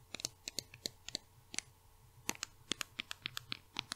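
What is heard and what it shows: A small pink plastic cosmetic bottle with a label, held in the hands, is tapped and scratched with long red nails. Nineteen quick, dry, bright clicks and ticks sound in an uneven rhythm over a faint low hum, each dying away almost instantly.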